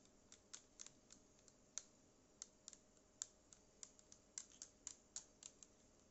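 Long acrylic nails tap the plastic body and the top row of buttons on a small black cylindrical Bluetooth speaker with a yellow logo. About twenty quiet, sharp, bright clicks come at an uneven pace, each dying away at once over a faint steady hiss.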